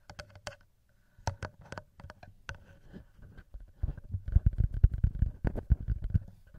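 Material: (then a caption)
Metal. Fingertips tap and flutter on the small metal microphone capsules of a TASCAM handheld recorder and on the plastic body between them. Sparse, sharp ticks and clicks in the first half build into a denser, louder patter of dull, bassy thumps over the last few seconds.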